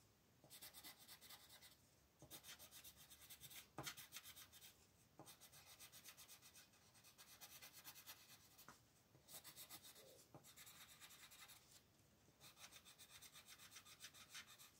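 A dark blue wooden colored pencil, held in the fingertips, scratches and rubs across a thin printed paper coloring book page lying flat on a table as it fills in squares. Bursts of bright, raspy back-and-forth strokes come one after another, separated by short pauses and a few sharper ticks.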